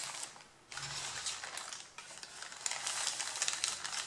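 Fingertips and nails rub, press and crinkle the top sheets of a stack of thin white printed pattern paper while moving them aside. The result is a steady, bright, crackling rustle with a brief lull near the start and a short dip around the two-second mark. Sharp crinkles grow denser toward the end.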